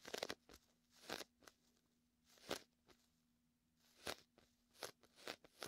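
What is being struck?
Inflatable vinyl beach ball.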